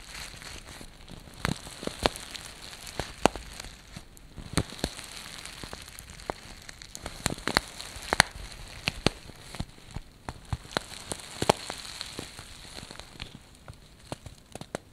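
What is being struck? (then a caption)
Plastic bag filled with artificial snow flakes. A large, clear sealed plastic bag filled with white artificial snow flakes is held in both hands and scratched and squeezed with medium painted nails. It gives a steady, soft crinkling hiss broken by many sharp, bright crackling clicks and ticks that stop instantly.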